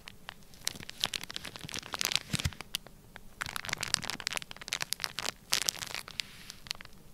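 A flat, sealed, clear plastic bag full of orange kinetic sand is pressed, rubbed and scratched across its surface with fingertips. The result is a dense run of quick, dry crinkles and crackles, bright and high with little low end, in irregular bursts over a faint background.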